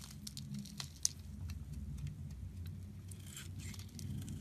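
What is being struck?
Soap bar scraped with a metal blade.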